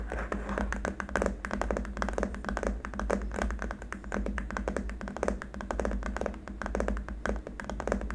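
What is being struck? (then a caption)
Hard plastic keyboard wrist rest. Both hands tap fingertips and short nails rapidly on a long, flat, solid white hard-plastic keyboard wrist rest. The result is a dense run of short, dry, clicky taps with almost no ring, over a steady low hum.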